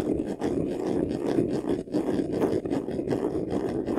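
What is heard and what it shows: Short nails scratch quickly across the front face of a medium white vanity case, a hollow box covered in textured faux leather. The result is a dense, continuous rasping scratch with a hollow mid-range body, broken only by a few brief dips in loudness.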